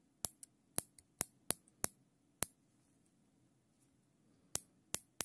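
Gloved fingers pull the tail of a black nylon zip tie loop through its ratchet head. Nine sharp, bright plastic clicks sound, with a few fainter ticks between them. A long pause falls in the middle, under a faint low hum.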